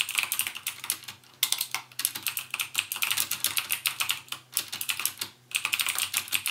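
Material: Plastic.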